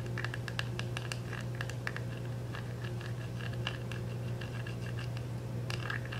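Fingernails scratch and tap across the clear cellophane wrap of a small, round, dark plastic makeup compact that is still sealed and held up to show its labelled back. Quick, crinkly scratching and light tapping sounds flicker in the upper range throughout. They sit over a steady low hum.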